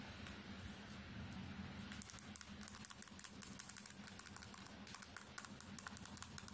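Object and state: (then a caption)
Smartphone glass screen tapped with nails. A small, solid smartphone, turned from horizontal to upright, has its glass screen tapped fast with long nails. After about two seconds of steady hiss over a low hum, rapid, irregular, bright clicking taps begin. Each tap is short and dry, and they continue to the end over the faint background noise.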